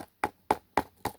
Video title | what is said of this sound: How to make the filler or inside of a Baby Paper Mache Ladybugs | Just trying to show you how sturdy it is. You hear the sound. It's solid.